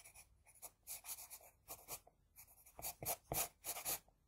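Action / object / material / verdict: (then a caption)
scrape / graphite pencil on drawing paper sheet / paper / none. An HB pencil scratches across a flat sheet of drawing paper in quick, short strokes while drawing hair strands. The strokes give off dry, bright scratching bursts at an irregular rhythm, with a few louder, sharper ones near the end.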